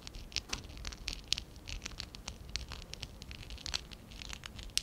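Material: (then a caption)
Plastic. A small, hollow stack of pink and dark blue ABS plastic Lego Classic 11017 bricks, held in both hands, is scratched and rubbed with fingertips and short nails. The result is a quiet, rapid patter of dry, bright clicks and scratchy rustles. Sharper ticks stand out from the steady scraping.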